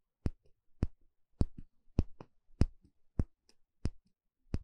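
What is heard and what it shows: A small, shallow, empty bamboo bowl held in one hand has its inner surface poked and scratched with a thin plastic pick. Eleven sharp, dry taps ring out at an uneven pace, each a quick bright click over a soft low knock that dies almost instantly, with faint scratches in between.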